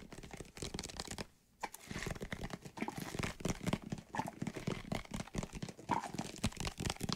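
Fingertips tap and scratch the sides of a hollow white plastic bottle of soapy water held in both hands. The result is a rapid, dense run of short, dry tapping and crinkly scratching with a hollow low body. A brief near-silent pause comes just before the first two seconds, then the steady patter resumes.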